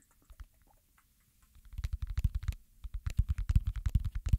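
Fingers pop and scratch the hollow bubble domes of a round silicone pop-it fidget toy held and tilted in both hands. After a few faint, sparse taps, a quick, irregular run of soft, dull pops builds up, low and muffled with almost no bright edge and each one dying away instantly.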